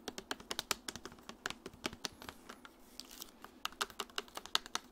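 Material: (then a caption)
Plastic. A medium clear plastic Dasani bottle with a green cap, hollow and partly filled with water, is held in the hand while long nails tap its body and touch the cap area. Quick, irregular, sharp clicking taps sound bright and dry, with almost no ring. They thin out into softer scratchy rustling in the middle before the rapid tapping resumes.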